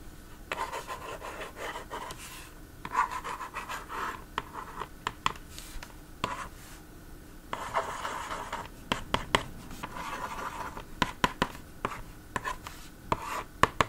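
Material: Plastic.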